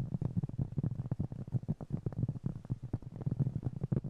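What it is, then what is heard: Cork trivet. Fingertips and nails tap and scratch a round, flat, solid cork trivet about 20 cm across, held in both hands. A quick, uneven run of soft, dull taps sounds with low, muffled thumps around 145 Hz. Each tap dies almost instantly, with a faint scratchy texture between them.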